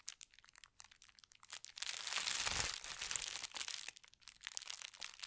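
Fingertips and painted nails slowly rub and scratch across a thin, flat sheet of white tissue paper printed with gold stars. The result is a run of quick, bright, crisp crinkles and scratches, swelling into a denser, louder continuous rustle through the middle before breaking back into scattered crackles.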